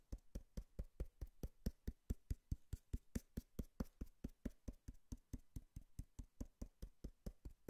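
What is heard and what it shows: A cardboard box is knocked and tapped in a quick, fairly steady run of about 36 short, dull thuds. Each hit is low and muffled and dies away almost at once, with no ringing.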